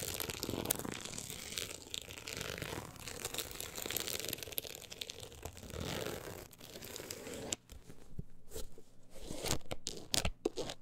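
Long acrylic nails scratch across the woven-look embossed cover and along the edge of a solid, closed book. The result is a dense, crunchy, papery rasp with bright, hissy highs. After about seven and a half seconds the sound drops briefly, then returns as sharper, more separated scratches.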